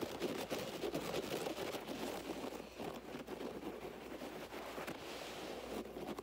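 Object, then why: Low-pile fiber carpet. Both hands vigorously scratch a low-pile beige fiber carpet on the floor with fingertips and nails in rapid, repeated strokes. The result is a dense, continuous rough rustling and scraping, full in the midrange with a bright, hissy edge, holding a fairly steady level throughout.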